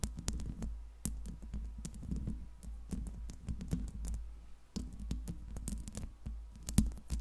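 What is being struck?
Metal mesh microphone grille.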